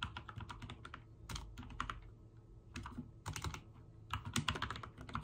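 Fingertips of both hands type on a backlit full-size mechanical keyboard with white and dark teal plastic keycaps. Quick, crisp key presses come in irregular bursts over a low steady hum, each click short and bright with little ring.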